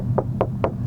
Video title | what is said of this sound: 12W7 VS 10W7 // Subwoofer Review | it sounds pretty solid but it still sounds kind of hollow because it's not fully fully dynamated